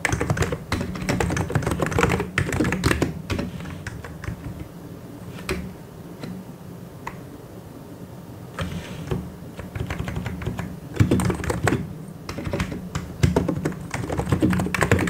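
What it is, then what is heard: Plastic mechanical keyboard. Two hands type with the fingertips on a white and grey plastic mechanical keyboard, giving rapid, irregular, dull clicks with a low body. Dense bursts of keystrokes fill the opening seconds, thin to scattered taps in a quieter middle stretch, then pick up again in busy runs toward the end.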